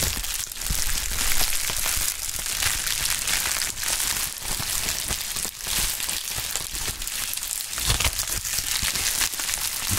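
A medium sheet of pink polyethylene bubble wrap is pressed, crumpled and lifted by gloved hands with bare fingertips. It makes a steady, dense crinkling with bright crackles over soft low handling thumps. The texture stays full and continuous throughout, with brief swells in loudness.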